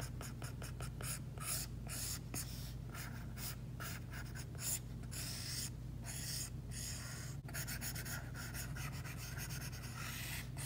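The plastic tip of an Apple Pencil makes rapid, short hatching strokes across an iPad's glass screen, which is covered by a matte plastic screen protector. Dense bursts of bright, high scratching come in quick succession over a steady low hum. Brief pauses separate some of the runs of strokes.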